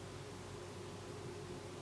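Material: Nothing is struck.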